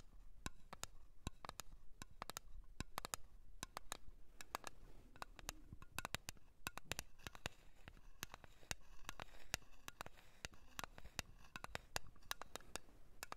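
A blue cream container is tapped in a quick, uneven stream of short, sharp, dry clicks. Each tap stops at once with no ring, over a very quiet, low background hum.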